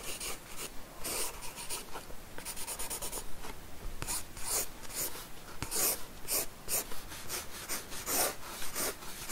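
A pencil lead scratches short strokes across the paper page of an open sketchbook resting on a wooden desk while sketching hair. The bright, scratchy bursts come in quick, irregular succession, each stopping almost at once, over a faint low hum.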